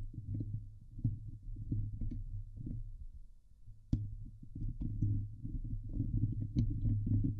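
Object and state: Steel mesh microphone grille being scratched.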